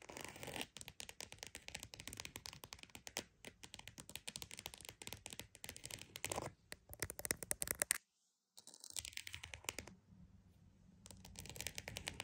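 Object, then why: Croc-embossed purse. A croc-embossed purse is tapped and scratched with dense, quick, crisp strokes that sound bright and dry with almost no ring. The rapid tapping and scratching pauses briefly near the middle, then resumes softer before building again.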